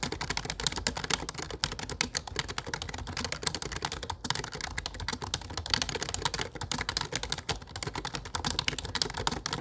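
Fingertips tap the dark plastic keycaps of a low-profile plastic computer keyboard while typing. Rapid, steady, bright clicks and clacks follow one another continuously, each tap short and dry with almost no ring. The typing keeps an even pace throughout, with a few slightly louder strokes.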